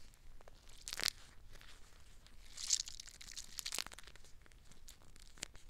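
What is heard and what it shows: A clear plastic gel eye mask filled with green water beads is squeezed and scratched with long black nails. Soft, bright crinkling and scratching runs throughout, with several louder crackly bursts, all quiet and dry.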